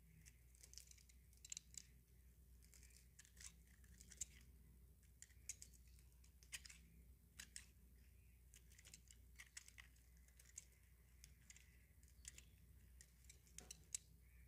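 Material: Soap.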